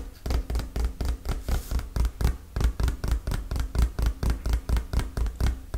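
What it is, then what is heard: Hollow cardboard box. A hollow, dark printed cardboard product box is held in both hands and tapped and scratched with fingertips and nails. Some two dozen quick, deep, dull thuds follow at an uneven pace, each dying away almost at once. Faint dry scratching sounds between the taps.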